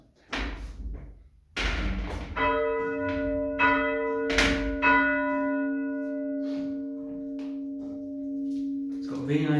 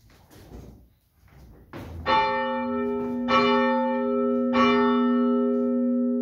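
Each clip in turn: First: A bronze church bell struck and left ringing, its clear partials and steady low hum holding for seconds: a sound bell. Second: Three strikes on a bronze church bell, each ringing on for seconds; this bell has a crack in its crown.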